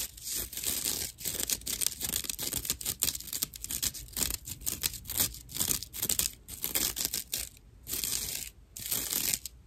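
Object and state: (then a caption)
Natural loofah sponge scratched. A dry slab of natural loofah, made of coarse plant fiber and held in one hand, is scratched across the top with long nails. It gives rough, bright, crackly rasping in quick repeated strokes with brief quiet gaps between bursts.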